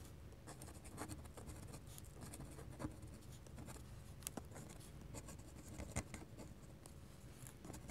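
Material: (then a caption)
Paper. A hand scratches short hatching strokes with a fine-nib ink pen across a large flat sheet of white drawing paper resting on a desk. The clip has quiet, dry, rapid scratching with brief bright ticks over a steady low hum, with a few slightly louder strokes standing out.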